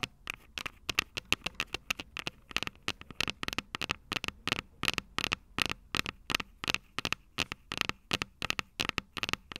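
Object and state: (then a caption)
Metal microphone capsules, tapped. Long purple nails tap and scratch the metal microphone capsules of an upright Tascam DR-05 recorder. Quick, sharp, bright clicks come in an irregular steady stream with a high ringing tone, each dying almost instantly, with faint scratchy rustle between taps.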